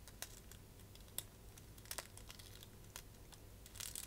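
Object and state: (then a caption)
Metallic plastic gift bow. A small shiny metallic plastic gift bow with hollow foil-ribbon loops is held in both hands while long painted nails and fingertips scratch and crinkle the loops. The result is quiet, bright, crisp crackles and sharp ticks over a steady low hum, with a denser burst of crinkling at the end.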